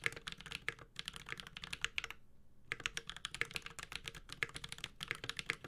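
A Space65 Cybervoyager 65% mechanical keyboard with a metal case, ABS plastic keycaps and Holy Panda switches is typed on continuously with the fingertips of both hands. Rapid, bright clicky-clacky keystrokes follow one another with very short decay and a brief pause near the middle. The sound is dominated by sharp, high-pitched key strikes with little low-end thump.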